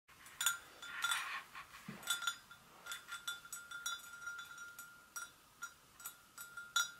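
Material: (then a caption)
Porcelain. Long acrylic nails gently tap the sides of a hollow, empty white porcelain gravy boat resting on a stone surface. A steady series of light, bright clinks follows, each leaving a short, clear ring that lingers at a steady pitch around 1.4 kHz between taps.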